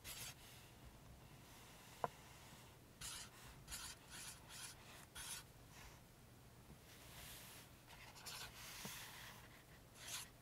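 A pink highlighter tip is dragged along lines of text on the glossy printed paper pages of an open paperback book lying flat, making quiet, bright rubbing and scratching strokes. The strokes come in a series of short bursts, with a sharp tick near the start and a faint low hum underneath.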